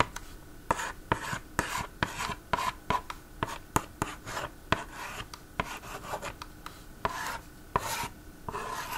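A yellow plastic stylus is scratched and rubbed across the screen of a plastic magnetic drawing board toy with an orange frame. It makes soft, raspy scraping strokes broken up by sharp, dry clicks and taps. The sound is quiet and close, with a mid-pitched scratchy tone and brief bright edges on the strokes.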